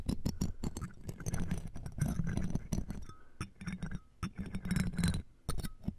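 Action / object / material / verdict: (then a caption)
scrape / metal mesh microphone grille scratched with metal tweezers / metal mesh / none. Metal tweezers and a thin metal tool scratch and tap across the round metal mesh grille of the right microphone, framed by a jeweled earring. A dense run of quick scratchy clicks and small metallic clinks is heard over a deep, close rumble, with faint brief tones ringing between strokes. The strokes come in rapid bursts, with short quieter gaps between them.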